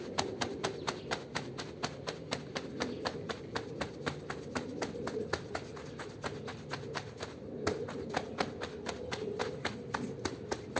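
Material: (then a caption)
Textile. A green plastic-bristle broom quickly scrubs a small foamy woven rug on the floor. Rapid, regular strokes make sharp, bright scratchy clicks over a steady low-mid swishing rustle that runs throughout.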